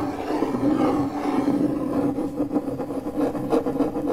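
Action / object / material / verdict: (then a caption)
scrape / MDF fiberboard panel scratched by a metal key tip / fiberboard / none. The tip of a metal car key, held between the fingers, scratches circles on the surface of a large, flat, pale, solid MDF fiberboard panel. It makes a continuous dry rasping scrape, steady in the midrange, that swells and eases with each circular pass and carries faint brighter scratchy accents.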